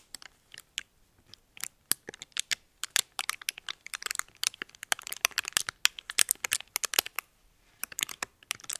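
A small red metallic foil wrapper is folded and crinkled between the fingertips and nails. Dense bursts of sharp, bright crackles and crinkles come in quick irregular clusters with almost no low end. They grow busier toward the middle and thin out at the end.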